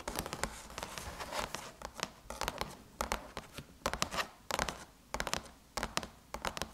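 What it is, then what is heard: Aluminum laptop lid. Long chrome nails scratch and tap around the Apple logo on a closed silver aluminum MacBook lid. A quick run of dry, bright clicks mixes with rasping scratches, and each tap stops almost instantly with no ring.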